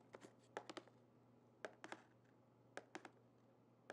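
Long painted fingernails tap on the closed lid and sides of a small, flat, hollow printed cardboard Birchbox gift box, contents not visible. Quiet, dry, clicky taps come in quick bursts of two or three, separated by pauses, each ending almost instantly over a faint steady low hum.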